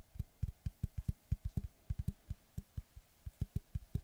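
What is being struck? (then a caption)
Round wooden tree slice board. A large, round, solid wood tree slice with a bark edge, held upright, is tapped and scratched with fingertips and short nails. About seventeen quick, dull, low wooden thuds come in an uneven rhythm, each dying almost at once, with faint bright clicks on top.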